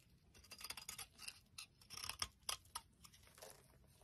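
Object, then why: Bar of soap cut with a blade. An orange soap bar held in the palm has its surface sliced and scored with a box-cutter blade. Quiet, crisp, bright scraping and cutting strokes come in irregular bursts with almost no low end, each dying away instantly.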